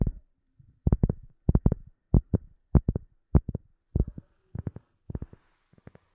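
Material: Rubber.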